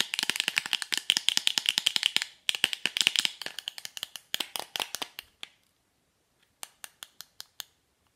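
Long manicured nails tap and scratch a small, hollow, rectangular printed MAC cardboard lipstick box held in the hand. The result is a rapid flurry of dry, bright clicks centered around 3 kHz, with almost no low end, running for about five seconds with a brief gap near 2.4 seconds. After a pause, five separate taps follow.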